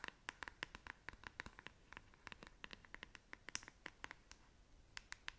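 Long acrylic nails scratch the bristles and back of a hand-sized black plastic paddle hairbrush held close to the face. About thirty quick, crisp, dry ticks and scratches come in an uneven run, bright and centred around 2 kHz with very little low end. Each one stops almost at once, and the whole thing is quiet.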